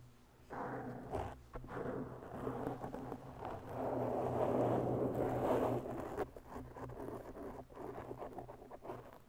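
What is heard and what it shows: Long bare natural nails of both hands scratch slowly over a black porous foam windscreen on a microphone. The result is a close, muffled rustling and scraping that swells in waves, with steady low rumble underneath and little high content. The scratching grows densest and loudest in the middle before easing into softer, patchier strokes.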